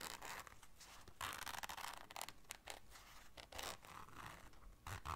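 Long nails scratch and scrape a small, hollow black zipper case and its zipper. The result is a quiet run of bright, rasping scrapes and clicks, with a few louder bursts of scratching.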